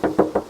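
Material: Sheet steel.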